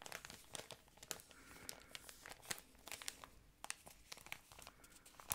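An empty, thin, yellow patterned plastic ice cream packaging shell is crinkled and scratched with long nails and fingertips. It makes a quiet, continuous crackle of bright, crisp crinkles. Many short, sharp snaps and ticks stand out and die away almost instantly.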